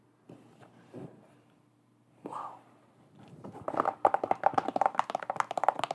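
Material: Leather, rubber.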